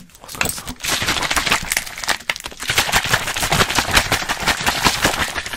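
A small clear plastic water bottle with a blue cap, held in one hand, is squeezed, crinkled and shaken while fingers and rings tap and scrape on it, and at one point it is held up away from the mic. The result is a fast, dense stream of bright crackling crinkles and sharp snapping clicks that stays loud throughout, with one brief dip partway through.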